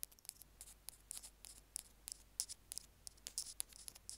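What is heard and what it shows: Two bamboo ear picks scrape and scratch across a small white plastic Apple earphone mic remote resting on a stone slab. The scratches come in quick, irregular, bright bursts with almost no low end. Each one is dry and stops instantly against a quiet background.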